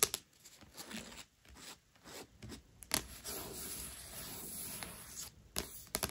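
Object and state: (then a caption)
Paperback book with glossy card cover. Long nails scratch and rub the glossy cardstock cover of a thick, solid paperback novel, Owarimonogatari, lying flat. The result is soft, bright, papery scraping in short strokes and longer rubbing passes, with a few sharper clicks.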